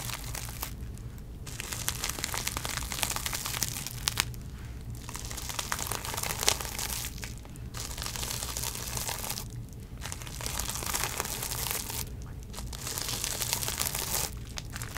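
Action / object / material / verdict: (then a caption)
scrape / plastic bubble wrap around a small box / plastic / none. Long nails scratch and crinkle the clear plastic bubble wrap around a small makeup box held in the hand. Bright, dense crinkling and scratching comes in bursts of about two seconds, broken by short quieter pauses, over a steady low hum.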